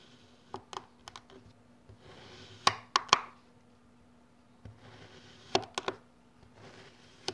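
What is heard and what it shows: A solid dome of orange kinetic sand on a yellow surface is pressed and cut into a grid by a long orange plastic ruler-like blade held with the fingertips. Sharp, dry clicks and taps from the blade land with almost no ring, and soft, bright, gritty hisses rise as the blade slices through the sand.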